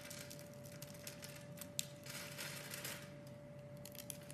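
A utility blade carves into the scored surface of a solid, hand-sized pink opaque soap bar, crumbling small cubes off it. Soft, continuous crisp scratching and cutting are heard, with bright little crackles and one sharper click near the middle, over a faint steady hum.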